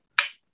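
A saxophone neck made of a different metal alloy than brass, differing only in its alloy, is thumped once with a finger. It makes a short, bright tap centered around 2.3 kHz that fades within about two-tenths of a second. Its tone differs from that of a brass neck.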